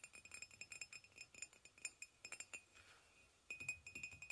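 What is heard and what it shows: Fingernails tap rapidly on the side of a hollow white ceramic mug resting on a blanket. The taps make bright, short clinks with a ringing tone near 2.5 kHz. After a brief soft, quieter stretch, the tapping resumes.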